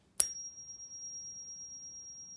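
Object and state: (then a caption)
Genuine gold coin with long ring. A genuine 1/4 oz American Gold Eagle, 22k gold with copper and about 3% silver, is tapped on a Pocket Pinger and rings like a bell. A sharp strike is followed by clear, very high steady tones that hold through the whole clip. This long ring, about twice as long as a British Sovereign's, is thought to come from its silver content.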